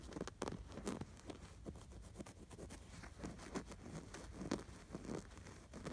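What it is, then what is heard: Stuffed canvas pillow with appliqué, scratched. Fingertips scratch and rub across the appliquéd sweater design on a stuffed, embroidered canvas pillow. It makes quiet, dry, rapid scratching bursts with a soft patter-like texture, mostly low and mid in tone with little brightness. Each stroke stops short with no ring.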